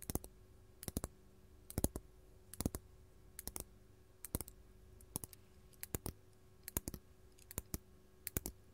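A large solid faceted purple glass crystal is held in the hand and tapped with long gold metal claw nails. Quick, sharp, bright clicks come in small clusters of two to four at a time, with dry, short decay and a faint steady hum underneath.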